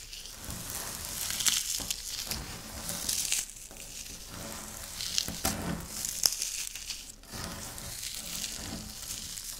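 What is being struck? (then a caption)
Wafer biscuit crumbs. Fingertips and long nails of both hands press and rub into a pile of dry crumbled wafer biscuit on a pinkish speckled flat surface, crushing and scratching it. A steady, bright, sizzling crackle runs throughout, with sharper crunchy snaps at intervals and little low-end weight.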